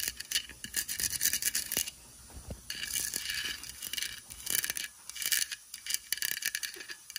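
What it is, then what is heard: Plastic craft pumpkin. Long white acrylic nails tap and scratch rapidly across an orange hollow artificial plastic or foam decorative pumpkin with white "WITCH better have CANDY" lettering, lying on a fleece blanket. The result is quick, light, bright clicks mixed with hissy scratching bursts, with almost no low end and no ringing after each tap.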